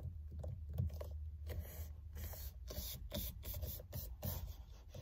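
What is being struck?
Synthetic leather steering wheel cover.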